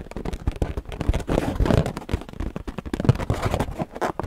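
An inflated, hollow purple latex balloon held close to the mic is tapped and scratched with long painted nails. Rapid, dull, low-heavy thumps mix with soft rubbery scratching, and each tap dies away almost instantly with a muffled, deep tone.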